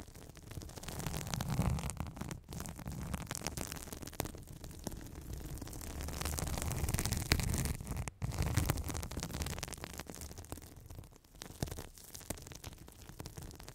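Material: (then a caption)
Foam. A soft, porous blue glittery foam sponge held close to the microphone is scratched and rubbed with long red nails and squeezed by fingers. The result is a steady, dense crackling, rustling noise with a heavy low rumble and brief dropouts.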